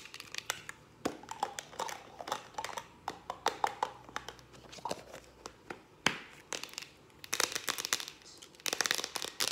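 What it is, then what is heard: Aluminium aerosol can tapped with nails. Long acrylic nails tap fast on a hand-held, hollow Farmdale whipped cream aerosol can, striking both its aluminium body and its ribbed purple plastic cap. The result is quick, bright, clicky taps with a crisp edge, almost no low end, and very little ring, coming in uneven bursts.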